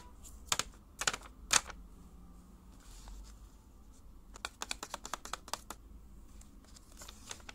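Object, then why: Small closed paper box tapped with paper fingernail tips. Long pink paper cone nails worn on the fingertips tap a small, hollow, closed handmade white paper box with an iPhone drawn on its lid. Three louder, sharp taps come first, then a quick, uneven run of lighter clicks. Each one is bright, dry and papery, and dies away at once.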